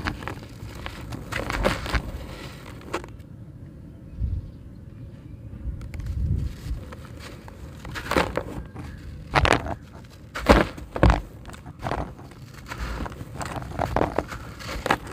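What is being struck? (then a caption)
Concrete brick. A dry, porous grey concrete brick is held in one hand while the fingertips of the other crumble dry chunks off it, with the grit pouring into a tub of crushed concrete. Gritty crunches and crackles come in uneven bursts over a low, rough rumble, with the sharpest snaps near the end. The brick is crumbly, shedding loose grit with every squeeze.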